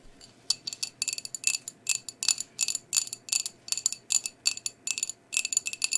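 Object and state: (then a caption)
Ceramic plate tapped with nails. Long nails tap and scratch across the surface of a medium-sized, flat, white glazed ceramic plate with a blue rim. Quick clusters of sharp, bright clicks come in steady bursts, each dying away almost instantly with a thin, high ring. There is no low end.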